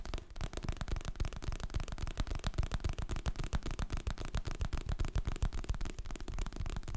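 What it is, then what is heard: Hardcover book tapped and scratched. Fingertips and nails tap the glossy printed cover of a solid, medium hardcover paper book, then rub and scratch along its spine and edge. The result is a steady stream of quick, soft, low thumps, each dying away almost instantly, with a faint scratchy texture between them.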